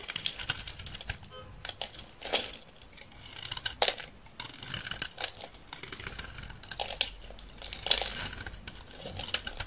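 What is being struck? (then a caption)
Olive oil soap bar shaved with a knife blade. A solid, dry green olive oil soap bar held in the hand is shaved repeatedly with a utility knife blade, peeling off layered flakes. The result is a steady run of crisp, bright scraping and crinkling strokes, with a few louder peaks, and little low end.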